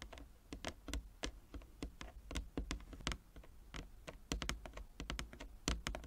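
Long nails tap rapidly with both hands across the inlaid squares of a large, flat wooden chess board. The taps form an irregular, typing-like patter of short, dry clicks, each with a bright tick over a soft low thud. They die away almost at once.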